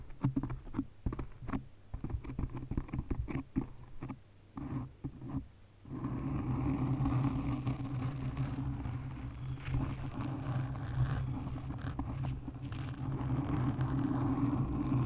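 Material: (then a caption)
Foam. Long nails scratch and tap a black foam windscreen on a condenser microphone, making a quick, uneven patter of soft, muffled scrapes for about six seconds. The sound then turns into a steady, dense rubbing rustle. Throughout, it stays dull and low-heavy with little brightness.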